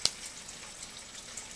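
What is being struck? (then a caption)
Copper penny. A copper penny is flicked, giving a sharp, bright metallic ping with a thin high ring that carries on faintly after the strike. A second, much softer tick follows near the end. The copper coin rings on rather than landing with a dull thud.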